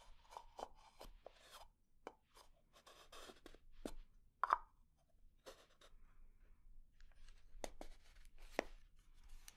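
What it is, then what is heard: Lidded wooden jar. Long nails tap and scratch the body of a small, round, hollow, dark lacquered wooden jar with inlay and its lid closed. Quiet, dry scratching mixes with sharp, short clicks, and a louder knock partway through gives a brief hollow tone around 1 kHz.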